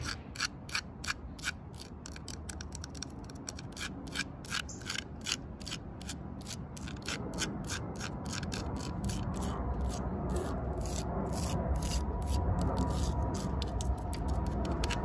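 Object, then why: Tree trunk bark tapped with fingernails. Long nails tap on the coarse bark of a thick, solid tree trunk and scratch into its vertical crack. Quick, sharp, bright clicks repeat at an uneven, rapid pace over a low, rough scratching rumble. The rumble grows steadily louder through the second half.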